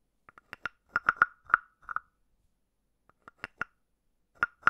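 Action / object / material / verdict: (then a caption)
tap / carved wooden frog / wood / none. A palm-sized hollow carved wooden frog is tapped and scraped on top with a wooden stick. It gives short, dry hollow knocks with a clear woody pitch around 1.4 kHz, coming in uneven clusters with brief pauses between them. Each knock dies away almost instantly.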